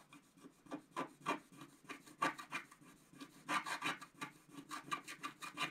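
A wooden stylus scratches the coating off a flat, thin scratch-art paper sheet lying on a white table while fingertips hold it steady. Quick, irregular short strokes make a dry, raspy scratching with bright hiss and almost no low end. Each stroke fades almost immediately.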